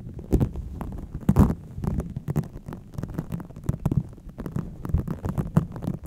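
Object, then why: Microfiber cloth over a foam microphone windscreen. A soft pink microfiber cleaning cloth draped over the foam windscreen of a desktop microphone is rubbed and scrunched with fingertips and long dark-painted nails. A steady run of muffled, low-heavy rustles and crinkles follows, each very short, with brief bright scratchy bursts and no ringing.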